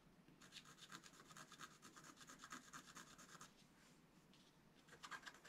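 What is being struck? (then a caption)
Coated scratch art paper card scraped with a wooden stylus. A wooden stylus scratches across the coating of a flat black-coated scratch art paper card. The result is a rapid series of dry, bright, raspy scratching strokes, which quiet to a faint rubbing near the middle and then pick up again with a few sharper scrapes at the end.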